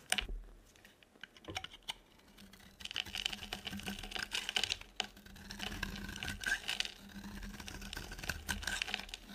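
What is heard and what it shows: A metal utility blade scrapes and cuts thin shavings off a solid, oval, embossed yellow bar of dry soap held in the palm. The sound is a dense run of crisp, bright scratching and clicking, with sharp ticks early on, then longer rasping strokes that swell and fade. A faint steady low hum sits underneath.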